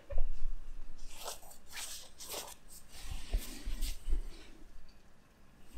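A fingertip rubs and scratches over the white line-art print near the collar of a black cotton t-shirt worn on the body. The result is soft, dry scratching and brushing with airy, bright friction bursts over a low rumble, rising and fading in uneven swells.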